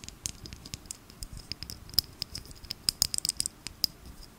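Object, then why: Small plastic bottle filled with glitter. Long nails tap and scratch a small, filled plastic glitter bottle with a pink cap. The result is a quick, irregular run of dry, bright clicks and scratchy patters, with a few sharper taps standing out. Each tap stops almost at once with no ring and very little low end.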